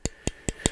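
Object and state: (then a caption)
Hollow-sounding titanium knife handle. Four quick taps on the titanium handle scales of a 116 g Kunwu Zen folding knife give short, hollow-sounding clicks with a bright metallic edge and almost no ring. The hollow tone comes from pockets milled inside the titanium to make the knife as light as possible.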